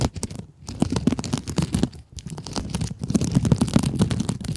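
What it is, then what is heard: Mesh scrub sponge scratched with nails. Long acrylic nails scratch a small pink scrub sponge with sparkly glitter mesh, making a dense, irregular crackling rasp of quick dry scrapes. The bursts sit mostly in a low, rough rustle with crisp bright edges, broken by brief pauses near half a second, two seconds and three seconds.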